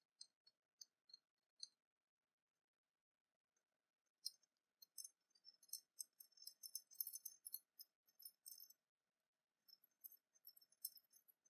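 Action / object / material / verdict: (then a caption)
tap / small openwork cast-metal pin / metal / none. A small copper-coloured openwork cast-metal dragon pin, held in the fingers, is tapped and scratched with long painted nails. A few separate, quiet, very high, bright metallic ticks come first, then a quick cluster of clicks and scratchy rattling that pauses briefly before resuming. Each tick is dry and short, with almost no ring.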